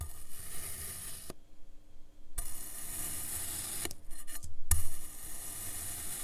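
A metal knife blade repeatedly slices into a solid dome of green kinetic sand resting on a teal surface. Thin slices crumble and fall apart with soft crunching and scraping sounds, broken by a brief quiet pause.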